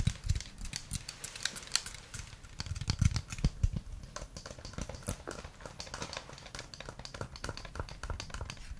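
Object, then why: Plastic game controller. A white plastic gamepad with a hollow shell is tapped and scratched with the fingernails, then with the fingertips, while held at different angles. Dense, rapid clicky taps and scratchy rubs are heard, sharp and bright at first, becoming softer and duller with a hollow low thud as the fingertips take over.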